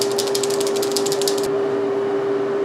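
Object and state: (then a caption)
Small plastic bottle with buttons rattling inside. A plastic Visine eye-drop bottle holding soot ink and two buttons is shaken, and the buttons rattle inside with quick, bright clicks that break up the mixture. The rattling stops after about a second and a half, leaving a steady low hum underneath.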